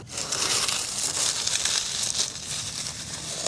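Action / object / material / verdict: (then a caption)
scrape / coconut shell charcoal chunks / charcoal / none. A handful of small, solid, brittle black chunks of carbonized coconut shell charcoal is squeezed and crushed between both palms and fingers. The sound is a dense, steady, bright crunching and crackling with almost no low end, running for about three and a half seconds as the pieces crumble.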